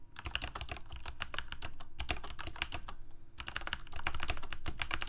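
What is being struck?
Plastic mechanical keyboard.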